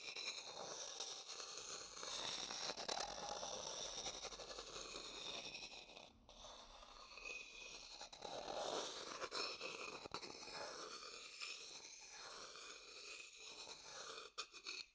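An empty, dark-brown hollow wooden bowl, held in one hand, is scraped and stirred inside with a thin wooden stick. The result is a steady, bright, dry scraping and scratching texture with almost no low end, easing briefly around the middle before resuming.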